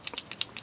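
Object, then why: Plastic chalk marker with mixing ball. A plastic liquid chalk marker holding ink and a mixing ball is shaken to activate it, and the ball rattles inside. Six short, bright clicks come in quick succession, almost entirely high-pitched with no low end. This is the normal sound of the marker's insides rattling.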